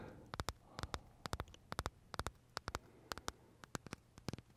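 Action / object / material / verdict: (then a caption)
tap / vanilla macaron with meringue shell / meringue / none. Short fingernails tap and scratch the crisp meringue shell of a large pale vanilla Starbucks macaron held near the mouth. About two dozen sharp, bright clicks come in quick pairs and triplets at an uneven pace, over a faint low hum and soft scratching hiss.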